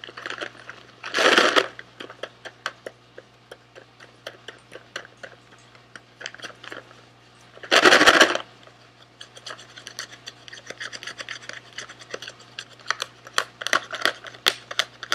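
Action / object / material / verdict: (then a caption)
tap / small cardboard box / cardboard / none. A small SweetTarts cardboard candy box held in the hands is tapped and scratched with fingernails. Dozens of short, dry, irregular clicks are broken by two longer rasping scratch bursts near 1 and 8 seconds, over a faint steady low hum.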